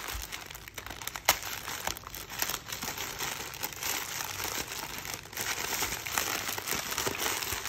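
A teal polyethylene mailer bag, already opened with something soft inside, is pulled and crinkled by fingertips. The thin plastic gives a steady, bright crackling rustle with many quick crinkles and a few sharper snaps.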